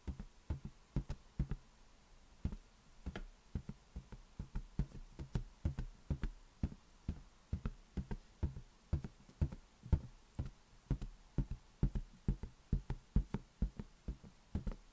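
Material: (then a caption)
Latex. An inflated, hollow lime-green latex balloon is held in one hand and tapped with the fingertips of the other. A quick, irregular run of soft, dull thumps follows, each deep and short with almost no ring, some taps louder than others.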